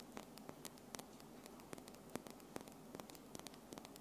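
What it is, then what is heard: Acrylic nail tips tapped together. Long pink-and-white acrylic false nails with small solid tips on one hand tap fast against the nails of the other hand, held in front of the recorder; gold rings are worn but not struck. Quick, sharp, bright clicks come in an irregular stream over a steady low hum and faint static hiss.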